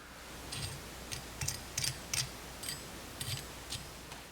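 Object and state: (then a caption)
Crispy fried shrimp tempura. A fork lightly taps the thin fried batter crust of shrimp tempura, making a series of sharp, dry, crackly clicks. The sound confirms the crust is extremely crispy.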